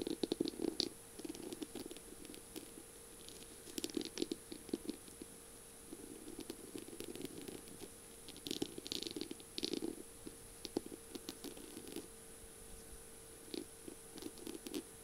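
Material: Beads, mirror tile.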